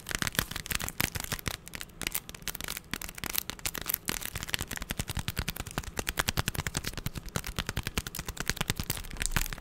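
A small, hollow printed cardboard product box is held close to the mic and tapped and scratched with fingertips and nails. Dense, rapid, dry taps with very short decay mix with papery scratching throughout, carrying a low hollow thump under crisp high-frequency clicks.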